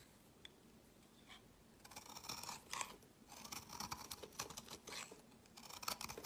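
A utility knife blade shaves flakes from the edge of a solid, translucent orange oval bar of soap held in the hand. Quiet, dry scraping strokes come in short bursts with crisp, bright crackling, separated by near-silent pauses.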